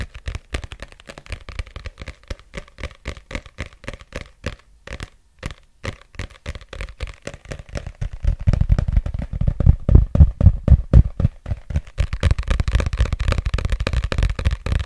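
Fingertips tap and scratch the glossy covers of a solid red paperback book as it is held up and moved around a microphone. A quick string of soft, dull, low taps with light scratching runs throughout, growing noticeably louder and denser from about halfway through.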